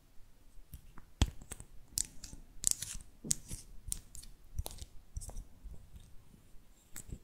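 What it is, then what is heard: Plastic lip gloss tube. A small closed pink plastic lip gloss tube with a white metallic cap, hollow and filled with gloss, is tapped and scratched with long artificial nails. Sharp, dry clicks with bright, high ticks and scratchy rasps come one after another, each dying out at once with no ring.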